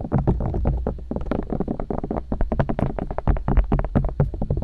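Long nails and fingertips poke and tap the silicone ears and ear canals of a binaural microphone. The result is a rapid, continuous stream of short, muffled thumps and soft clicks, heavy in the low end with a steady low rumble near 59 Hz underneath. Each tap dies away almost instantly, with only faint brighter ticks on top.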